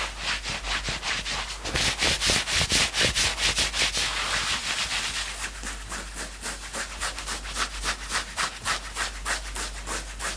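Fingertips scratch a worn knit sweatshirt, first along the sleeve and then across the chest fabric. The result is fast, rhythmic, bright scratchy rasps, roughly two strokes per second, with a dry hiss and no ringing between strokes. The strokes grow denser and louder in the middle before settling into a steady, slightly lighter rhythm.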